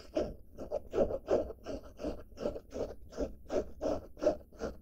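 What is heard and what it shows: A medium-size padded blue denim fabric pouch bag, held in both hands, is scratched across its surface with long black-painted nails. About fifteen quick, rhythmic scratching strokes with a papery, midrange texture and faint high hiss are heard, each fading away almost at once.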